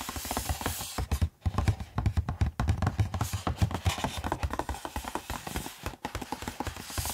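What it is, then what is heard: Cardboard box, tapped. Bare fingertips tap and scratch across the holographic front of a medium-sized, hollow Steam Deck OLED retail box with a glossy printed cardboard sleeve, held in both hands. Dense, rapid, dull taps with a low, hollow thump sit under light scratchy friction, each tap dying away almost instantly.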